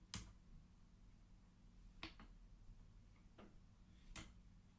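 Index fingers flick single colored wooden beads along the metal rods of a wooden abacus, making five sparse, sharp, bright clicks at irregular intervals, two of them close together. Each click dies away quickly over a steady low hum.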